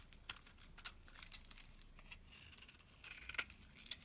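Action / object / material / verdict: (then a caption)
scrape / soap bar scraped with a metal blade / soap / none. A flat metal blade scrapes long shavings from the face of a solid cream bar of soap held in the palm. The result is a quiet, bright, dry scraping and crinkling sound, broken by sharp clicks and ticks as the blade catches and shavings peel away, with almost no low end.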